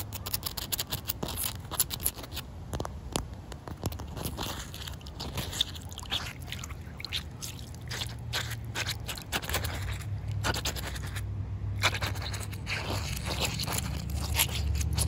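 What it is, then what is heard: Wet concrete slab. Long white nails scratch and tap across a large, solid, damp concrete slab with a gritty surface. Dense, irregular bursts of bright, crackly scraping and short sharp taps sit over a steady low rumble. The taps die away almost at once, and the scratching grows slightly louder toward the end.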